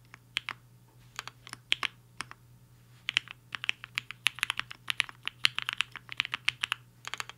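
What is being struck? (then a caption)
Mechanical keyboard with plastic keycaps. Fingertips of both hands type on a HI-FINGER 7.5 black-cased 75% mechanical keyboard with a hollow case and white and pink plastic keycaps, resting on a desk mat. Short, bright, clacky key strikes, centered around 3 kHz with almost no low end, come in a scattered run, pause briefly near the 2.5-second mark, then pick up into a denser, faster burst of typing of about 37 distinct keystrokes in all.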